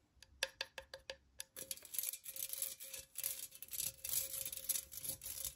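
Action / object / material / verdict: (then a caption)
tap / perforated metal pen cup / metal / none. Long nails tap a hollow pink perforated metal cutout pen holder six times, each light tick ringing briefly at a faint metallic pitch. The nails then scratch continuously across the cutout walls, giving a dense, bright, hissing rasp with that same thin ring running underneath.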